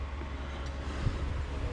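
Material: Nothing is struck.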